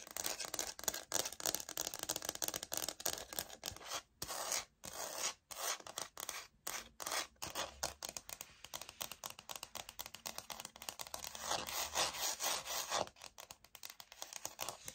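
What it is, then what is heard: Laminate wood-look floor sample. Long acrylic nails scratch and tap the textured face of a solid, flat rectangular laminate wood-look floor plank sample with a light oak print, held upright in the hand. Dry, bright, rapid scratching and quick clicking taps come in dense bursts with almost no low end and only a few brief pauses.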